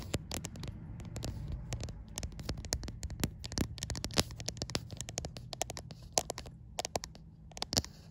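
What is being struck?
Glass-backed smartphone tapped and scratched with nails.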